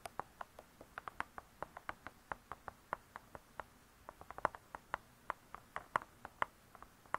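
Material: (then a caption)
Cardboard. Long nails tap the cardboard cover of a spiral-bound hardcover cookbook lying flat, about 34 quick, quiet taps in an uneven rhythm across seven seconds. Each tap is a dry, crisp click centered around 1 kHz, with a few brighter, sharper ones, and it dies away almost at once with little low end.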